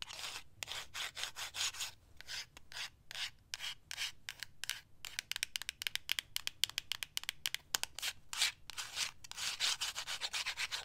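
Long acrylic nails scratch and rub along the length of a slim, grey, matte cardboard cosmetic product box that is closed and hollow. Quick, bright, hissing strokes come in bursts, concentrated in the high frequencies with little low end.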